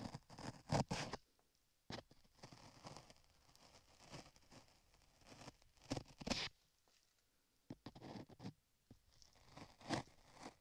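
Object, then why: Modeling clay on a microphone ear. A dark metal tool scrapes beige modeling clay on the lower part of a microphone ear while a gloved hand steadies the ear. Close, crunchy scraping and rustling come in uneven bursts separated by short quiet gaps, with loud grinding strokes near the start, the middle and the end.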